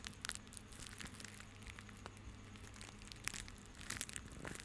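A small bundle of white plastic rope is held in both hands, then crushed and rubbed with the fingertips. Dense, dry crinkling and crackling are heard, with bright, sharp bursts clustering near the start and again toward the end. Underneath runs a steady low hum.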